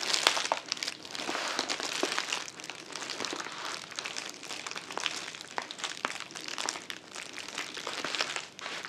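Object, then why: Plastic poly mailer bag. A filled, soft white plastic poly mailer with a shipping label stands upright on a table and is squeezed and crinkled with the fingers of both hands. Dense, bright crinkling and crackling continues for about nine seconds, made of many quick, sharp snaps with almost no low end.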